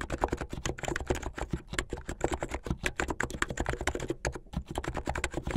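Fingertips with painted nails type fast on a blue full-size backlit mechanical keyboard with white, blue and yellow plastic keycaps. A rapid, steady stream of short, dry clacks with a low thock under each press blends into continuous typing.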